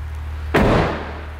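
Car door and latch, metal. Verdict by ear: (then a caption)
Solid. A Honda Element passenger-side car door with a metal latch, its latch screws just tightened, is closed once with a single low, solid thud over a steady low hum. The thud fades out over about half a second. It sounds solid, and the door moves even less than the other side.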